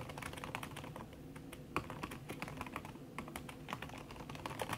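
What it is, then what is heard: Laptop keyboard with silicone cover, fast typing. Fingertips with long red nails type fast on a backlit aluminium laptop keyboard whose plastic keys sit under a red silicone skin. The result is a steady stream of soft, muted clicks and taps, each dying away almost at once, with some sharper, brighter ticks where the nails catch the keys.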